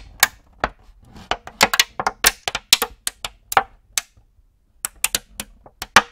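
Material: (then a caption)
Plastic. An empty clear plastic cookie tray is held in both hands and flexed while fingertips tap and crinkle the thin plastic. It makes about 22 sharp, bright clicks and crackles in irregular bursts, with a short pause near the middle. Each snap dies away almost at once, with very little low end.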